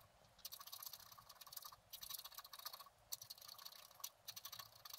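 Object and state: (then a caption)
Scratch art card being scratched. A wooden stylus scratches short strokes into the coating of a flat, black-coated scratch art paper card held flat by one hand. Quiet, bright, dry scratching comes in rapid bursts separated by brief pauses, with almost no low end.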